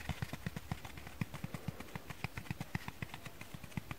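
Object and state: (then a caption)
Dry foam sponge tapped. A dry foam kitchen sponge is tapped quickly with fingers and nails, giving about 27 soft, dull taps in four seconds. Each tap is a short low thud with a faint brighter click that dies away almost at once.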